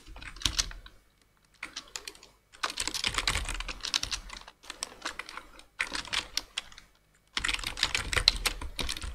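Both hands type rapidly with their fingertips on a black plastic full-size computer keyboard. Quick, bright, clicky key taps come in bursts separated by short pauses, with a faint low thud under the clatter.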